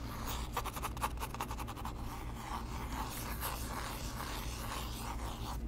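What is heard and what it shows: A small hollow white cardboard box with its open end visible is held in both hands and tapped and scratched with the fingertips close to the microphone. Quick, light papery taps come in a rapid run early on, then give way to steady scratching and rustling with a bright, dry texture over a low, constant hum.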